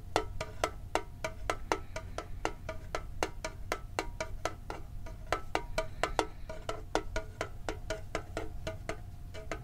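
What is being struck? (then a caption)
Small printed metal tin, tapped on the lid. Fingertips tap quickly on the lid of a hollow, hand-sized printed metal Pokemon card tin held close to the microphone. About 39 short, dry, evenly spaced clicks each carry a faint metallic ring around 440 Hz over a steady low rumble.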